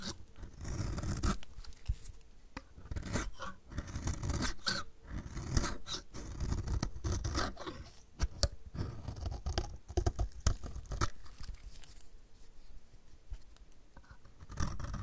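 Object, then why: Bar of soap scraped with a blade. A metal utility blade scrapes flakes off the edge of a solid, dry, purple striped bar of soap held in the hand. Repeated dry, crisp scraping strokes come with sharp crackling snaps. The sound is heavy in the low end, and each short stroke stops almost instantly.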